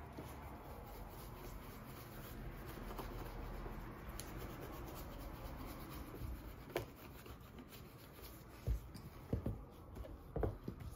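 Gloved fingertips rub cream into the upper of a brown leather derby shoe, which sits hollow on a counter. It makes a steady, soft, low rubbing sound, broken near the end by a few short, sharp knocks.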